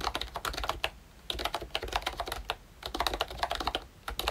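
Fingertips type continuously on a pink and brown plastic ROYCHE Disney Mickey Mouse retro membrane keyboard. About two dozen soft, short, bright key clacks come in quick bursts, with brief pauses between them.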